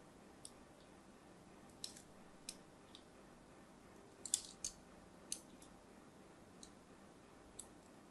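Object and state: Soap bar scored with a blade.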